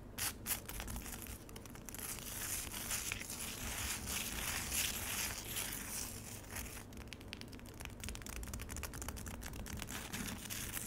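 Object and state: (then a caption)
Frozen lemonade ice scratched in a plastic tray. Long acrylic nails on both hands vigorously scratch solid frozen lemonade ice in a black plastic tray, leaving ice shavings on the surface. The result is a dense, continuous run of bright, crackling scrapes with rapid, uneven strokes, steady in level throughout, over a low rumble.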